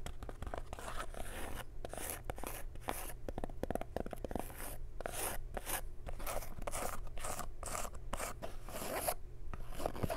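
Long nails scratch across the crown and stiff brim of a printed cotton snapback cap, making a steady stream of dry, rasping strokes with short pauses between bursts. A low, constant hum sits underneath the scratching throughout.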